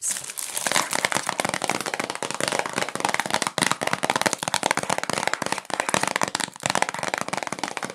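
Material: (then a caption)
Cellophane. A rectangular, hollow Q-tips cotton swab cardboard box, still sealed in cellophane plastic wrap and held in both hands, is tapped and scratched with long nails and fingertips. The result is a dense, continuous stream of bright, crisp crinkling and crackling from the plastic, with quick clicks and very little low end, pausing only briefly a few times.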